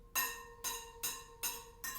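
Five taps on the steel spokes of a Sur-Ron X dirt-bike wheel during tensioning, each giving a short, bright metallic ping that rings for about a quarter second with a steady tone near 500 Hz and strong high overtones. One of the tapped spokes rings a little wonky, meaning its tension is off.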